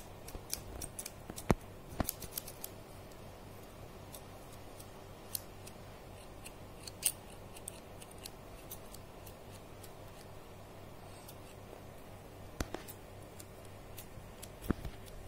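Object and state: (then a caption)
Steel scissors snipping. Medium steel scissors with pink plastic handles are held in the hand, their blades opened and closed to snip and click. Sharp, brief metallic clicks and snips come in a quick flurry at first, then turn sparse and scattered. Between them a quiet, steady low hum sits underneath.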